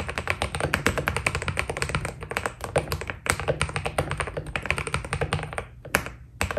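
Fast fingertip typing on a white Keydous NJ80 mechanical keyboard with PBT keycaps produces a dense, rapid stream of short, crisp taps. Each keystroke clacks with a bright edge and dies away almost instantly, over a steady low rumble. Near the end, the typing thins out into a few scattered, isolated taps.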